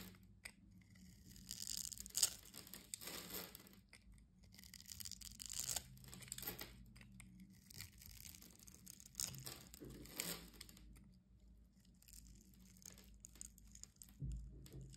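A metal utility-knife blade cuts and scrapes across the pre-scored surface of a solid orange soap bar held in the palm, sending small cubes crumbling off. Quiet, bright, dry crunching and tearing scrapes come in repeated bursts over a faint low hum.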